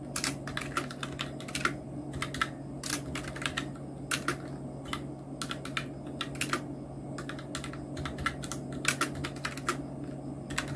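Fingertips of both hands type on a full-size black Nubwo Illusion NK-70 mechanical keyboard with Outemu red switches, round plastic typewriter-style keycaps and blue backlight. Rapid, irregular bright plastic clicks and clacks come in quick bursts over a steady low hum, each keystroke short and dry.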